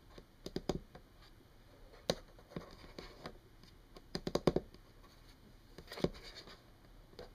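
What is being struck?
Wooden tabletop.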